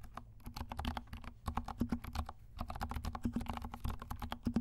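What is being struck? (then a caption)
Plastic mechanical keyboard keys. Fingertips of both hands type on a compact 68-key mechanical keyboard with dark plastic keycaps and silent switches. Soft, muted clicks land in quick, uneven bursts with brief pauses. Each dull, low-weighted tap fades almost at once, carrying a faint low hum beneath.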